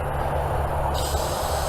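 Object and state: Nothing is struck.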